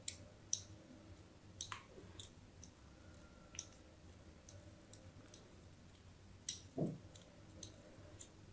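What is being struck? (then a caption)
Bar of soap. A thin metal blade scratches a crosshatch of grooves into a hand-sized solid white bar of soap held in the hand. It makes quiet, sharp, bright clicks and short scrapes spaced irregularly over a low steady hum, with one fuller, duller scrape near the end.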